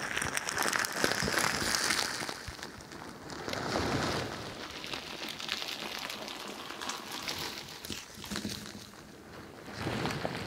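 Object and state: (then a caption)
Bead-filled squishy ball. A pink crinkly bingsu ball, a stretchy plastic skin filled with plastic beads, is held beside the microphone and squeezed and scratched with long nails. It produces dense, bright crinkling and rustling bead noise in waves that swell and fade, with short scratchy clicks throughout.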